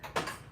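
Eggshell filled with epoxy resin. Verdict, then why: Solid. A real eggshell filled with epoxy resin is dropped onto a hard surface and gives three short, hard ticks with a bright click around 1 kHz and very little low end. The epoxy has cured in under five hours, leaving the egg solid as a rock.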